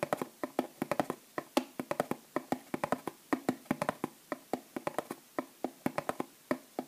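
Long nails rapidly tap the flat cardboard end panel of a small bath bomb box held upright and full of bath bombs. About 40 quick, dry, hollow taps land in uneven bursts, each a mid-pitched knock that dies away almost instantly.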